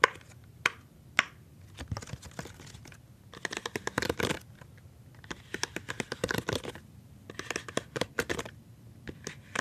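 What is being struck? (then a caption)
Silicone pop-it fidget toy. A rainbow silicone pop-it fidget toy with hollow bubbles is held in one hand while the fingertips and palm press and pop its bubbles. Quick clusters of soft, crisp pops and clicks come in bursts separated by brief quiet gaps, with a few sharper isolated pops near the start.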